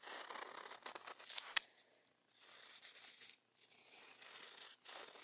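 The tip of a felt or ink pen is stroked across a large, flat sheet of thick watercolor paper resting on a pad, with the other hand resting on the sheet. It makes a soft, bright, continuous scratching, with a sharp tick early on and brief quiet gaps between strokes.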